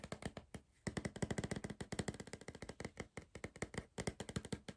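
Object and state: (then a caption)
Cardboard crisp tube tapped. Fingertips and nails tap rapidly on the side of a tall green cardboard Pringles tube, which is held upright in one hand. About 35 quick, hollow, low-pitched taps each die away almost at once, with a short pause after the first handful and another near the end.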